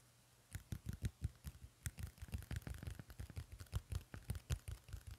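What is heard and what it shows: A medium pink paperback book with a glossy card cover and gold print, solid and held in one hand, has its cover tapped and scratched with fingertips and nails. The result is a quiet, rapid, uneven series of dull, low thumps, each with a brief bright scratchy click that dies away almost instantly.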